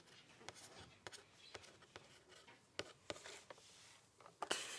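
Long fingernails scratch and tap the printed front of a closed, medium-sized red cardboard "Fragrance Discovery Vault" gift box, likely holding perfume sample vials, held upright in one hand. About nine sharp, bright clicks stand out over soft, hissy scratching, with the loudest tap near the end.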